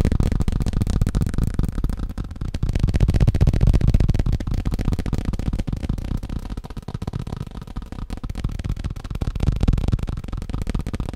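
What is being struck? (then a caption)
Plastic tablecloth. Fast fingertip tapping on a plastic tablecloth makes a dense, continuous patter of soft, dull taps. The sound is mostly low thuds with little brightness, and it swells and eases in loudness over about eleven seconds without stopping.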